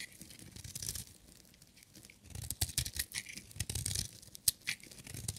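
A metal utility knife blade shaves a solid, hand-sized, blue and white striped bar of dry soap into crumbly shavings. Quiet, bright, dry scraping and crackling bursts come in an irregular rhythm over soft low thumps, with one sharp click near the middle of the second half.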